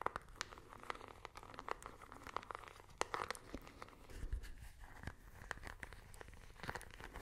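Long nails tap rapidly on a small, hollow plastic IR remote control held close to the mic. The result is a quiet stream of dry, clicky taps with a hollow mid-range tone, mixed with faint crinkly, rustling textures.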